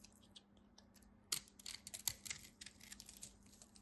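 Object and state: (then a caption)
Bar soap being cut. A utility knife cuts into a solid white bar of soap, breaking pieces off. Quiet, bright, dry crackling and scraping clicks come in irregular bursts. Two sharper snaps stand out near the middle of the clip.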